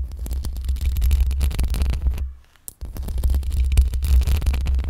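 Long pink acrylic nails scratch the top and sides of a black microphone's hollow metal mesh grille. The scratching comes through as a dense, boomy low rumble of uneven scrapes and thumps with a faint crackling edge. It briefly drops almost to silence partway through, then resumes just as loud.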